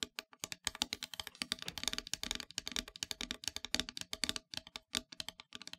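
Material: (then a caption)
Painted wood. Long nails tap fast across the surface of a solid, flat, black-painted wooden heart plaque. The result is a rapid, uneven patter of sharp, bright clicks with almost no low end, each tap dying away instantly.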